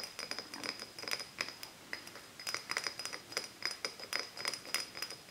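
An empty small glass Japanese cider soda bottle with a paper label is held in both hands and tapped with long nails. The taps come quickly and irregularly, giving bright, glassy clinks with a high ringing tone that dies away fast.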